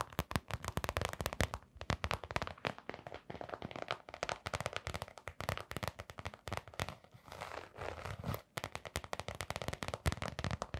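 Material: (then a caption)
Canvas, rubber. Long nails scratch and tap the brown rubber sole and blue glittery fabric upper of a canvas sneaker with a rubber sole. The result is a dense stream of quick, dry, crackling clicks with low thumpy body and brief scratchy stretches in between. The tapping runs almost continuously, easing into a softer rustling scratch near the end before the rapid taps return.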